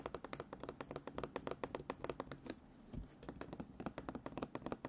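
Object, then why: Fabric stretched in a wooden embroidery hoop. Fingertips tap and scratch embroidered fabric stretched taut in a wooden embroidery hoop, striking both the fabric surface and the rim. A rapid run of short, dry, bright taps, each dying away almost at once, pauses briefly for a soft scratchy brush before the quick tapping resumes.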